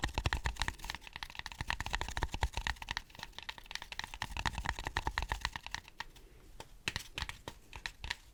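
Fingertips tap rapidly on a styrofoam cup, some of the taps landing over the mic, making a dense run of dry, clicky taps with a low thump beneath bright tops and almost no ring. The tapping is busiest in the first six seconds, then thins to softer, more spaced-out taps toward the end.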